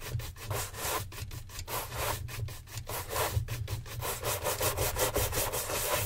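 A gloved hand rapidly brushes a hollow brown leather oxford dress shoe mounted on a stand with a wooden-backed horsehair shine brush. Quick back-and-forth bristle strokes make a bright, airy rustle over a low thump. The rhythm is steady but not perfectly even, with a little under three strokes per second.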